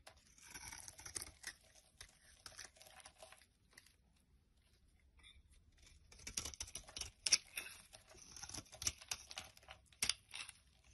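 A utility knife blade shaves flakes and curls off one end of a solid yellow bar of soap held in the hand. The scraping makes dry, bright, crackly rasps in quick bursts, pausing nearly silent in the middle before louder, sharper strokes return.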